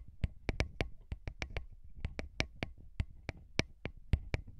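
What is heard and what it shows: Short fingernails and fingertips of both hands tap on two small metal-bodied microphone capsules mounted on a handheld recorder. A quick, irregular series of sharp, dry clicks follows, each one bright on top with a close, thumping low end and almost no ring. A soft rumble sits underneath between the taps.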